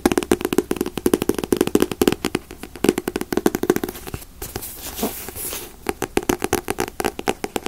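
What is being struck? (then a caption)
Paperback manga book, paper. Fingers tap rapidly on paperback manga volumes such as One Piece, Naruto and Bleach, making a dense run of short, dry paper taps with a hollow mid tone around 360 Hz. Midway, the tapping briefly gives way to a softer, breathy rustling hiss before the quick taps resume.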